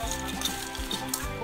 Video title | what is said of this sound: असा बनवा झटपट साबुदाणा चिवडा 😋 ! साबुदाणा चिवडा रेसीपी | छान झालेला आहे हा चिवडा एकदम कुरकुरीत आवाज येतोय छान आवाज येतोय